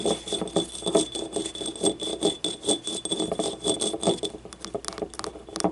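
Long nails scratch and tap the ribs and rim of a small, hollow, yellow glazed ceramic ribbed ramekin lying on its side. The result is a dense run of quick, dry clicks and scratchy rasps with short, bright, ringing ceramic ticks. A faint, steady high tone hums beneath most of the clip, and the tapping turns sparser near the end.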